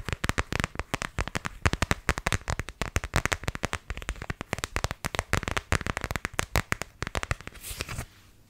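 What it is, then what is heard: Plastic phone case. Long nails tap and scratch on an empty, thin iPhone X case with a neon green rubbery bumper and a leopard-print back. Rapid, crisp clicking taps run almost continuously, closing with a brief bright scratchy hiss before falling quiet.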